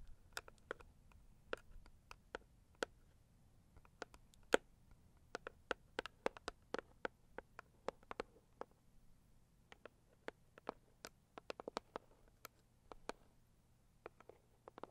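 A hollow, medium-sized pink floral Saviland cardboard gift box lying on a fluffy rug is tapped with the long acrylic nails of both hands. About 39 quiet, sharp clicks land at an uneven, unhurried pace, each dying away instantly with no ring. A faint low hum sits underneath.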